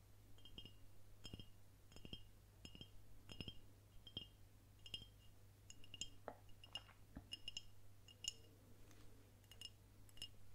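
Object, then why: Glass swing-top beer bottle. Long nails tap on the glass and the swing-top cap of a dark glass swing-top beer bottle with a paper label, which appears to be empty. The result is an irregular run of quick, bright clinks with a short ring near 2.9 kHz, each dying away almost at once. A steady low hum runs underneath throughout.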